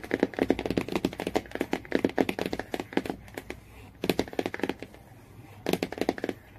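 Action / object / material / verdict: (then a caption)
tap / laminated cardboard hardcover book / laminated cardboard / none. Fingernails tap quickly on the laminated cardboard cover and yellow spine area of a hardcover Jungle Book. Short, dry clicks with a low-mid body come in rapid bursts separated by brief pauses, each tap dying away almost instantly.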